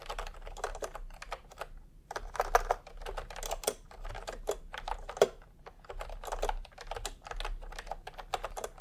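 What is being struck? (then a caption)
Plastic computer keyboard. A full-size plastic retro computer keyboard with round pastel typewriter-style keycaps and a hollow body, resting on a white cloth, is typed on quickly with fingertips. Rapid, clustered keystrokes give a hollow, mid-pitched clacking, with short pauses between bursts. Each stroke has almost no ring.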